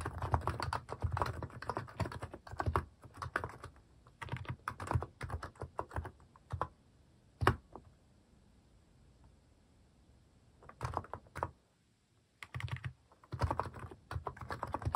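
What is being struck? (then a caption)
Plastic mechanical keyboard. Fingertips type on a cream plastic mechanical keyboard with plastic cat and paw keycaps, producing bursts of quick, deep, clacky keystrokes. The typing pauses briefly, with one sharp louder tap near the middle, then resumes in rapid runs.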